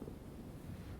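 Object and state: Nothing is struck.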